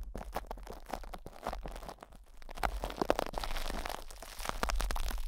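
Fingertips and nails scratch and rub plastic cling wrap stretched over a hollow metal mesh microphone grille. The result is a dense run of short, irregular crinkling and crunching scratches over a heavy low rumble, with brighter crackles in the middle.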